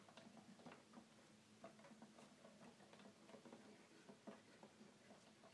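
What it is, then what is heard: Plastic toy keyboard. Fingertips gently tap and press the plastic keys of a hollow red plastic toy keyboard. Soft, quiet clicks and light pattering taps run steadily throughout, with short dull knocks over a faint low tone.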